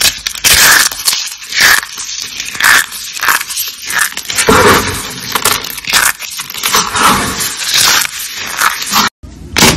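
A handful of dry, brittle white and pink starch soap flakes is crushed and rubbed between bare fingers. This gives a dense run of bright, crisp crunching and crackling in overlapping bursts, with almost no low end. The crunching goes on steadily and cuts out briefly near the end before a quieter crackle resumes.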